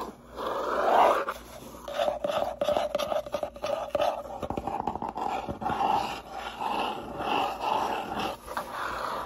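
Long nails tap and scratch the top and front of a medium, closed, hollow brown corrugated cardboard box, first held up and then resting on a table. Dry, papery scratching swells in and out between quick, crisp taps, all carried by a hollow midrange resonance with little deep bass.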